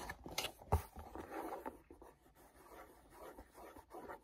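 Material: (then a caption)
Cardboard. Fingertips rub and grip a small, hollow printed paperboard mochi box, first on the back label side and then on the front. Soft, dry scratching and rasping rub across the surface, with one sharper low thump early on before the rubbing continues quietly and unevenly.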